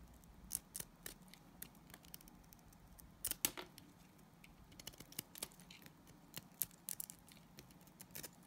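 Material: Glycerin soap.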